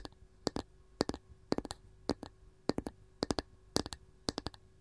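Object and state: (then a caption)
Wooden canister lid. Long gold nails of one hand tap rapidly on a round, varnished wooden canister lid. The result is quick bursts of short, dry, hollow clicks with a bright edge, grouped in irregular clusters with almost no ring after each tap.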